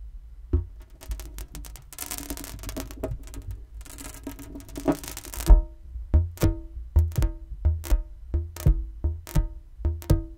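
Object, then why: Inflated latex balloon. An inflated, hollow green latex balloon, held by its knot beside the mic, is tapped and flicked with fingers. Early on come bursts of bright, crackly rubbing and flicking over a low rumble. These give way to a steady run of separate dull, low thumps, each with a short hollow ring.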